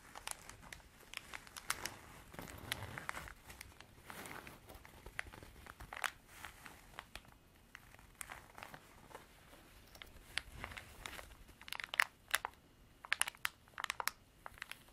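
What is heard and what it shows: A beige canvas zip pencil case is handled and laid on a table, then scratched with long nails. Quiet, dry crinkling and rasping scratches are heard, broken by many short, sharp clicks that grow brighter and more frequent toward the end.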